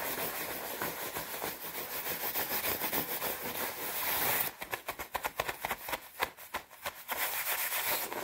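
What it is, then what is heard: Nylon puffer jacket. Long red-painted nails and palms rub and scratch the sleeves and chest of a white quilted nylon down jacket, which is padded and hollow-feeling and being worn. A steady, bright swishing rasp fills the first half, then breaks into quick separate scratches with short gaps between them.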